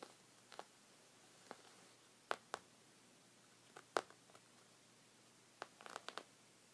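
A hand with red-painted nails scratches a folded white woven fabric rug resting on a wooden table. Short, dry, crisp scratches come in irregular bursts against a quiet background, with little low end and no ring after each stroke.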